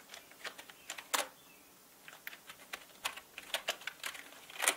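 Slow typing on a full-size black mechanical gaming keyboard with plastic keycaps and a hollow body, its keys pressed with fingertips. About twenty short, bright clacks come at an uneven pace, with a brief pause early on and a louder keystroke near the end. Each click dies away almost at once and has no low-end thump.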